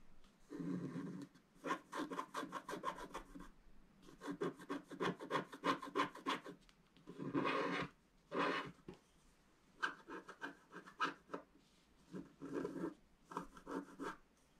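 A wooden stylus scratches long strokes across a flat, black wax-coated scratch-art sheet. The result is bursts of fast, raspy scratching with a scraping tone around 1 kHz, separated by short pauses.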